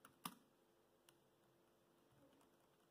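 Fingertips type on the black plastic chiclet keys of a dark grey laptop, giving three quiet, short clicks with a sharp, bright attack, the middle one loudest. The clicks die away almost instantly over a low, steady background hiss.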